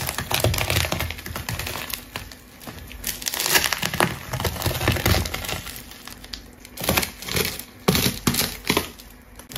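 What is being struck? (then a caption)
Ball of layered plastic tape. A large rainbow ball of solid layered plastic tape is held by hand and sliced with a metal craft knife. Dense crinkling and crackling come in bright bursts, with sharp tearing snaps as the blade cuts through the tape layers.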